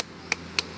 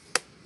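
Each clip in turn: First: young coconut. Second: slightly mature coconut.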